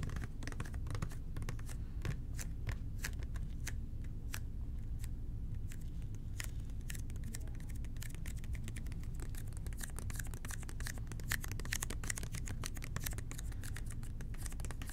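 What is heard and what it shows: Fingertips tap the sides of a red plastic toilet cleaner bottle held close to the ear. Quick, soft, dry taps and light scratchy clicks come in an irregular, rapid stream, each dying away almost instantly over a steady low hum.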